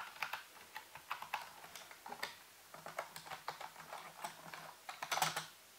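A full-size black plastic computer keyboard with hollow keys, set on a white base, is typed on slowly with the fingertips of both hands. Sixteen separate, hollow-sounding plastic key taps are heard at an uneven pace. Each tap is bright and clicky and dies away almost at once.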